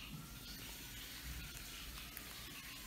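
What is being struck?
Nothing is struck.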